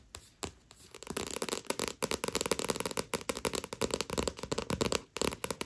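Long nails scratch and tap the card-stock cover of a Tokyo Ghoul paperback manga with a dust jacket lying flat. After a quiet, sparse first second, a dense run of sharp clicks and dry scratches follows with brief pauses, bright and crisp with little low end.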